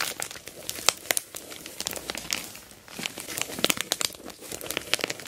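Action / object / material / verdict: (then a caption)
scrape / plastic mailer bag around a box / plastic / none. Long black nails scratch and rub an orange plastic mailer bag wrapped around a box, partly turned to its taped side. Bright, dense crinkling is broken by many sharp crackles and quick scratchy ticks, with almost no low end.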